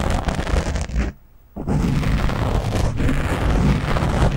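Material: Foam.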